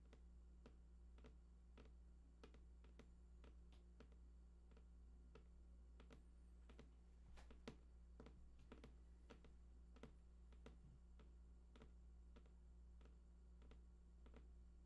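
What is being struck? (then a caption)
Printed cardboard box. Fingertips tap the right side edge of a large, hollow, printed cardboard PlayStation 4 box with unknown contents. The result is a quiet, irregular series of short, dry taps that die away almost instantly, heard over a steady low hum.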